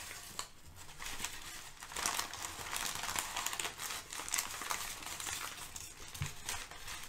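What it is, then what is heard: Kraft packing paper. Thin sheets of brown kraft packing paper are shifted, crinkled and lifted with fingertips. The result is a steady run of dry, bright crinkling and rustling with small crackles and no speech.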